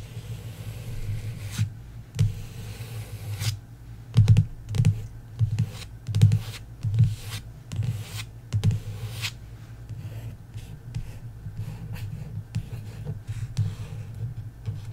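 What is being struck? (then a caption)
Paperback book with a glossy card cover. Long acrylic nails and fingertips trace, tap and scratch the glossy card cover of a solid, thick paperback novel, *The Love Hypothesis*, lying flat on a wooden table. Dull, low-pitched taps mix with brief bright scratchy strokes, loudest in a busy burst around the middle. The sounds then settle into softer, quieter tracing and light tapping.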